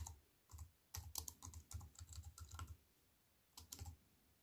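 A compact wireless keyboard with black plastic keys in a thin silver aluminium frame, resting on a wooden table, is typed on fast with fingertips and long white nails. Quick bursts of soft, clicky key taps with a low thud under bright clicks come in short runs separated by brief pauses, each tap dying away almost instantly.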